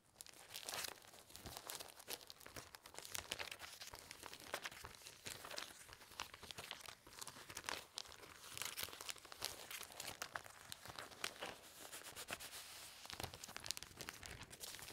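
A stack of thin, clear, empty punched plastic sheet protectors resting on a quilted cloth is rubbed, flexed and crinkled with fingertips and nails, then smoothed flat. The result is a continuous, quiet stream of bright, crisp crackling and rustling, with dense rapid snaps and very little low end throughout.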